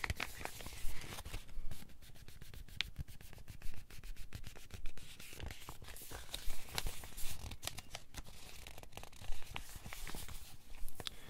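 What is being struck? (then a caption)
Thin printed paper booklet. A thin printed paper instruction booklet is held in bare hands while its pages are rubbed and flexed with the fingers and thumbs. Soft, dry rustling and scratchy crinkling run throughout over a low rumble, broken by irregular louder crackling bursts.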